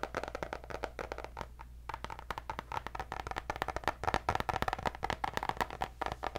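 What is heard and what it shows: Long nails rapidly tap the cardboard cover of a white hardcover paper notebook with gold dots. The short, dry clicks have a mid-range knock and die away almost instantly. They briefly soften near the start, then grow denser and louder toward the end over a faint, steady low hum.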